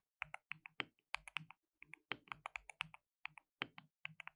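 Fingertips rapidly type and tap on a compact, white RGB-backlit mechanical keyboard with plastic keycaps and a hollow case. Bright, sharp clicks and clacks come in quick bursts with brief pauses, each keystroke cutting off almost instantly, and a faint low thock sits under the high click.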